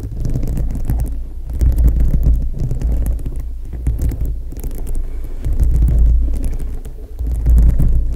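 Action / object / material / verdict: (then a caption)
scrape / plastic rhinestones on a foam microphone windscreen / plastic / none. Long nails scratch and tap across a foam microphone windscreen whose dome is covered with small plastic rhinestones. The result is a dense, irregular stream of muffled, deep rumbling thumps and rubbing, with faint bright ticks on top. It swells louder in waves, with nearly all of its weight in the low end.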